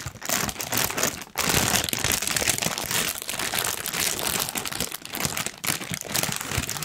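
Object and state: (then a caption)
Tissue paper sheet being crumpled. A large, thin pink tissue paper sheet is crumpled with both hands. It gives a dense, continuous crinkling with a bright, hissy character, dipping briefly to near quiet around 1.3 seconds before the rustling resumes at a steady level.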